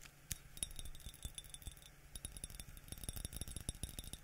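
A yellow glazed ceramic mug with a white interior, hollow and empty apart from sprayed water droplets inside, is held in the hands and tapped on the outside with the fingertips, with a spray bottle held at the left edge. A quiet, rapid, uneven series of short, dry taps is heard, each pairing a soft low thump with a bright glassy click that dies away almost at once.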